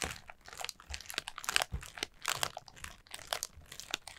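Long nails tap and scratch the rings of a collapsed orange pleated paper lantern with a black plastic battery base. The result is a dense run of crisp, crinkly paper taps and scrapes, mostly bright and high with little low end, each very short and dry with almost no ring.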